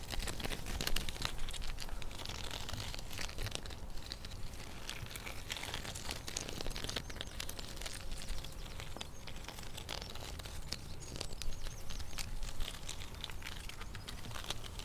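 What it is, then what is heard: Tree bark scratched. Long painted fingernails and fingertips scratch and rub the furrowed bark of a large, solid tree trunk, with the recorder right beside the trunk and a dog partly in view behind. A steady stream of dry, crinkly scrapes and quick crackling ticks runs throughout, with bright rasping edges over a constant low rumble.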